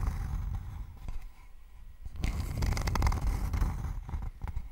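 Long nails scratch across a thin, flat, rectangular wooden board held in both hands close to the microphone. Dry, rasping scrapes come in uneven strokes over a heavy low rumble, quieting briefly before growing louder and denser.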